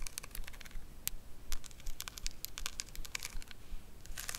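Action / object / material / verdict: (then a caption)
tap / rhinestone-covered makeup compact / rhinestone / none. A small square makeup compact covered in pink rhinestones with a gold metal rim, held in the hands, is tapped rapidly on its rhinestone face by long acrylic nails in a typing-like pattern. The result is a quick run of short, bright clicks and crackles over a low, quiet rumble.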